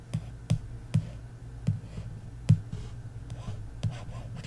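A handful of soft, clicky taps at an uneven pace, each with a faint low thump and no ring at all. It sounds like a fingernail on the card cover of a paperback, with light scratching between taps in a quiet room.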